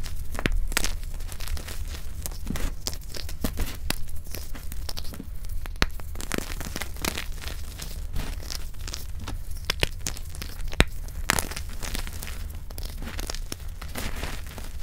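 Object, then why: Crumbled pressed gym chalk. Fingertips dig into, squeeze and crush a loose pile of crumbled black reform gym chalk (dark grey pressed gym chalk brick broken into dry powder with small chunks) resting on a black mat. The result is a steady stream of dry, crisp crunching and crackling with many quick, sharp clicks, heard over a constant low hum.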